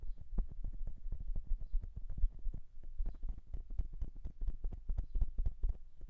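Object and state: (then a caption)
Metal microphone. Fingertips of both hands tap quickly and steadily on the metal capsules of a silver dual-capsule microphone. Each tap lands as a short, dull, low thud with almost no ring, and the rapid taps overlap into a continuous, even patter like soft clip-clopping.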